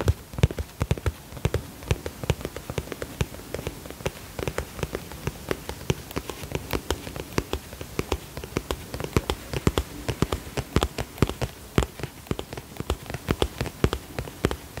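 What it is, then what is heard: Vinyl cosmetic pouch tapped with nails. A medium-size polka-dot holographic vinyl zip cosmetic pouch, soft and hollow, is tapped with long fingernails. Dense, quick, dry taps patter unevenly like rain on a surface, each click sharp and bright with almost no ring over a low, soft thud.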